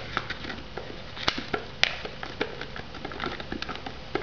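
Long nails tap and scratch the lid and rim of a white polystyrene instant noodle cup, still unopened, hollow and shrink-wrapped in plastic film. A scattered run of sharp, dry clicks sits over a soft, crinkly scratching, bright and papery with a peak near 2.4 kHz. Each tap dies away almost instantly.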